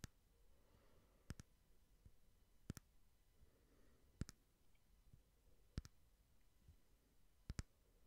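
A small cylindrical frosted glass votive candle holder with a candle inside is held sideways and tapped slowly with fingertips and nails. Eleven sharp, bright clicks land mostly in quick pairs spaced a second or more apart, each dying away almost instantly over a faint low rumble.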